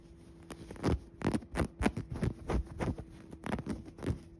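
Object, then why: Woven fabric upholstered cushion. Fingers scratch and rub the dark woven fabric upholstery of a soft padded cushion with a tan piping seam. A series of short, soft, dull scratching strokes comes at an uneven pace, each with a low, muffled body and a faint brushy hiss.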